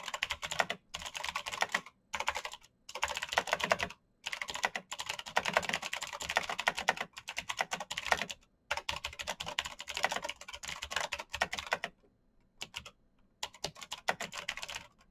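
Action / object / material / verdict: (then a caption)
tap / mechanical keyboard with plastic keycaps / plastic / none. Fingertips type fast on a black backlit mechanical keyboard with plastic keycaps and clicky switches. Dense bursts of sharp, bright clicks with almost no ring come in runs, broken by short pauses and a longer lull near the end.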